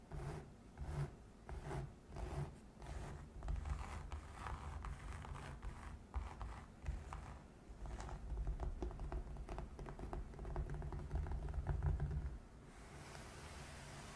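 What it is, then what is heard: Felt-covered box. Long nails scratch a gray felt-covered box while fingertips tap and rub its fabric, making soft, muffled scratching and brushing sounds heavy in low rumble. The strokes come in quick repeated bursts that swell and fade, then stop, leaving only a faint, steady hiss.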